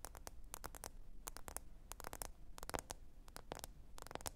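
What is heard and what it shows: Long orange nails tap rapidly on the glossy glass screen of a black smartphone lying flat on a faux fur mat. The result is a quiet, quick run of short, crisp clicks with bright tips and almost no ring, over a soft low rumble.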